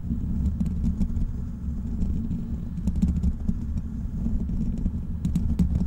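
Fingertips of both hands scratch and tap the hollow black metal mesh grille of a large desktop microphone. The result is a steady, muffled low rumble of scratching, dotted with quick, soft tapping clicks and very little high end.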